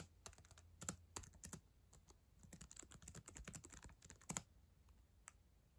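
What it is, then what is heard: Plastic laptop keyboard being typed on. Long acrylic nails and fingertips type on the plastic keys of a solid black ThinkPad laptop keyboard, making a quick, uneven run of sharp, bright clicks and taps. Each click dies almost instantly, with a few louder strikes standing out over a faint low rumble.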